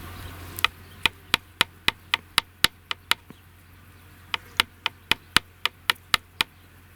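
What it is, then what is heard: Dried clay ball, sound with no cracks. A handmade clay ball, dried in the shade for a week, is knocked against wood, concrete and metal as a strength test. About 19 sharp, bright knocks with almost no ring are heard in two steady runs, separated by a pause of about a second. The ball gives a good, clean sound and shows no cracks.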